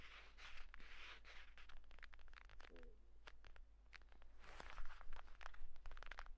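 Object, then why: Leather folio tablet case. Fingertips rapidly tap and scratch the cover of a closed purple pebbled leather folio tablet case, then hold it and tap along its edge. The result is quick, dry, irregular clicks and scratchy bright rustling over a steady low hum.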